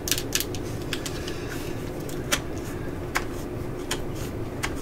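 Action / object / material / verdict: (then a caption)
tap / plastic cordless drill housing / plastic / none. Long nails tap the hollow plastic casing and clutch collar of a yellow and black cordless drill held in the hands. Sharp, bright clicks stand out at irregular intervals over a steady low hum, each one dying away quickly.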